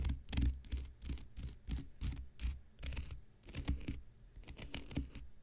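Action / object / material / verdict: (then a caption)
scrape / cellulose sponge scraped with a knife blade / cellulose / none. An X-Acto knife blade scratches the surface and edge of a thick, hand-sized block of light blue porous cellulose sponge held in the hand. It makes quick, irregular scraping strokes with a low, rough rumble and bursts of bright, dry hiss.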